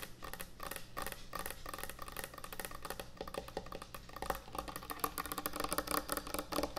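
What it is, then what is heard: Wooden end-grain butcher block cutting board. Long nails tap fast on a large, thick, solid wooden end-grain butcher block cutting board. The result is a dense stream of short, dry, woody clicks with a knocking tone around 1.2 kHz over a steady low hum. The taps grow louder and busier toward the end.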